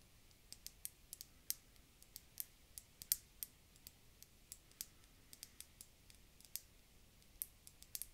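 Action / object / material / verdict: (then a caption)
tap / round glass bottle / glass / none. An empty, round, hollow, clear glass bulb-shaped bottle is held in both hands and tapped with long dark-painted fingernails. About 26 quick, bright clicks land at an uneven pace, each dying away almost instantly, over a faint low background hiss.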